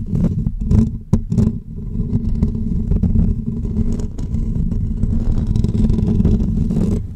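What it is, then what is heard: Metal mesh microphone grille being scratched. Short natural fingernails and fingertips scratch and rub the hollow woven metal mesh grille on top of a pink condenser microphone. Sharp, bright scraping bursts in the first couple of seconds give way to a steady, dense, rumbling rub that stays heavy in the low end with a humming tone near 215 Hz.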